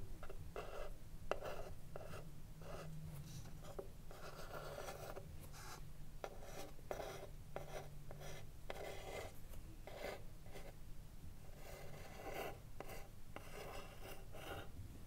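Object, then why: Wooden cigar box. Long nails rub and scratch the front face of a hollow, printed wooden "Mini-Tip Filter" cigarillo box held upright. The result is a steady run of short, dry scratching bursts centered in the midrange, over a quiet low hum.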